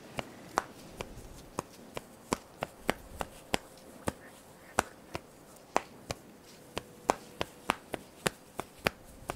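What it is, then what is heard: Elastic clothing strap snapped and rubbed. Fingers with long nails pull, snap and rub the thin black elastic cross straps of a top. About 24 sharp, dry snaps sound at an uneven, quickening pace, each bright and dying almost instantly. Between them are soft rubbing and a faint steady hum.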